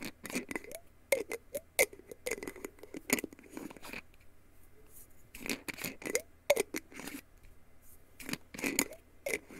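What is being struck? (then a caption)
Small glass jar with plastic screw lid. A small clear glass jar with a black plastic screw lid, hollow and seemingly holding a few pills, is held in both hands over a bedsheet while fingertips and nails tap and scratch the glass body and the lid. About two dozen crisp, bright clicks and scratchy rasps come in quick clusters, with a quieter pause in the middle. Each tap dies away almost instantly.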